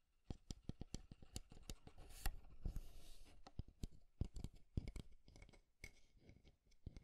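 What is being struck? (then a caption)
Small wooden desk clock. Fingernails tap and scratch the wooden edges and sides of a small, square, light-wood alarm clock held up in the hand. A quick series of sharp, dry taps opens the clip, then a soft, bright scratching swells through the middle before the crisp tapping resumes. The sound is quiet, close and woody, with each tap dying out almost instantly.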